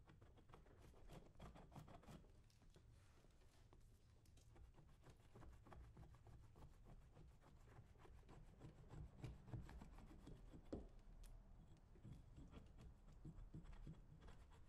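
A metal scraper tool is drawn down the leather upper of a brown leather lace-up work boot, worn on a foot, in repeated strokes while the other hand holds the boot. The result is a quiet, steady run of dry, rasping scrapes with a soft low rumble underneath and short, crisp ticks that die away quickly.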